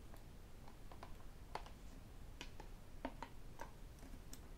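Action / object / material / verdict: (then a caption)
tap / plastic sports water bottle / plastic / none. Fingertips and metal rings tap and scratch the sides of a hollow white plastic sports bottle with a black cap, standing on a desk and then tilted. Quiet, short, clicky taps with almost no ring are scattered over a low, steady background rumble, with faint scratching between them.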